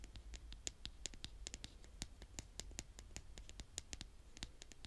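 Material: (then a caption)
Sand. A blue plastic toy spade, held in fingertips with long painted nails, is scraped again and again across a brown mound of kinetic sand. The result is a quiet, rapid run of short, dry, crunchy scratches with bright, crisp tops over a low, steady background rumble.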